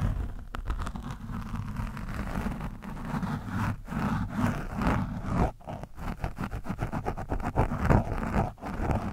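A screwdriver tip is scratched across and poked into an orange foam microphone windscreen. The result is a continuous, low-heavy crackling scrape with muffled thumps and rustling bursts, broken by brief near-silent gaps.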